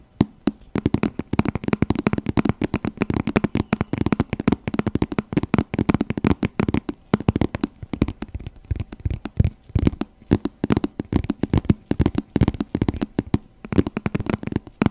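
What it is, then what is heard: Patent faux leather handbag, tapped. Long nails tap rapidly on the shiny synthetic leather side of a glossy burgundy patent faux leather handbag, held upright and hollow in front of the mic. The quick, dry taps come in dense bursts with short pauses and a dull, hollow low thud centered near 200 Hz, with almost no bright top end. Each tap dies away instantly.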